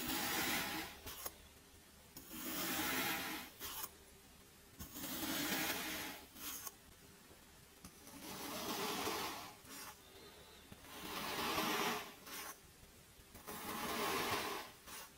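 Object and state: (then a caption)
Kinetic sand being cut. A small metal blade repeatedly stabs and cuts through a white cup full of teal kinetic sand. Each cut makes a bright, gritty crunching rasp that rises and falls in separate bursts with quiet gaps between them.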